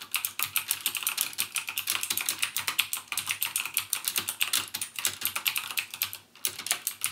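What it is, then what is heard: Plastic mechanical keyboard. Fingertips type rapidly on a backlit plastic mechanical gaming keyboard with clicky Cherry MX Blue switches. It makes a steady stream of sharp, bright clicks that die away almost instantly, with little low-end weight. One brief pause comes near the end.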